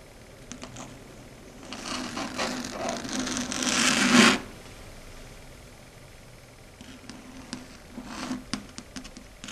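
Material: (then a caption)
Slate. Long red stiletto nails scratch across a flat matte dark grey chalkboard, building into a dense, bright rasping that swells and then cuts off abruptly. After a quiet pause, the nails tap the surface in a scattered run of sharp, dry clicks.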